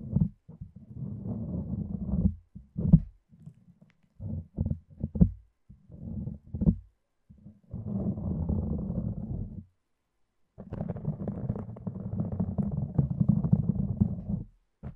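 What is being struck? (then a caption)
Cohesive elastic fabric bandage wrapped on a microphone. A red self-adhesive elastic fabric bandage is wrapped around a microphone, and long nails peel the strip upward and rub it over and over. The result is bursts of deep, muffled, crackling scratches and thumps, with long continuous rubbing stretches between short scrapes. The sound is heavy in the low end and has no bright top.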